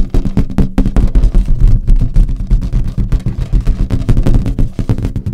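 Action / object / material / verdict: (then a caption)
tap / inflated latex balloon / latex / none. Long acrylic nails tap and scratch a large, hollow, inflated green latex balloon. The result is a rapid, continuous run of deep, boomy thumps with a resonant low hum and very little brightness. Each tap dies away quickly.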